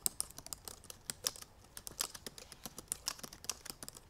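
Long purple nails tap rapidly on the black plastic keys of a silver aluminum MacBook Pro in fast typing. About two dozen quick, bright, dry clicks with very short decay run together at an uneven pace, with little low end.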